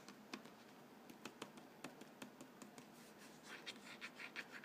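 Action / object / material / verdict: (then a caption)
tap / printed cardboard cracker box filled with crackers / cardboard / none. A fingertip and nail tap and scratch the narrow side panel of a Vegetable Thins crackers box, a hollow printed cardboard box filled with crackers and held upright. Quiet, sharp, dry clicks with little ring sound at irregular intervals over a soft scratchy hiss, followed by a run of quicker, brighter scratching strokes at the end.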